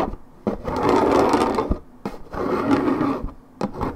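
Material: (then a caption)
Paperboard. Long red nails scratch rapidly across the coated cardboard surface of a 1.75 L Minute Maid paperboard orange juice carton lying on its side. Dry, mid-pitched rasping comes in sustained bursts, each starting with a sharp tap and separated by brief near-silent gaps.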